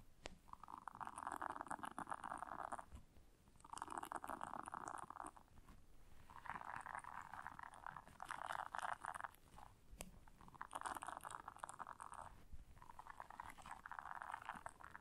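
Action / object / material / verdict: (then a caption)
scrape / silicone bristle scrubber pad / silicone / none. Long nails scratch the bristles of a blue silicone bristle scrubber pad as hands bend it slightly. This gives repeated bursts of dense, rasping scratching with a midrange tone, separated by brief quieter pauses.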